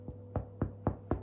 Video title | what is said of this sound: LET'S BAKE! Brown Rice Bread With Dutch Crunch Topping | When you hear that, it sounds hollow. That means it is ready.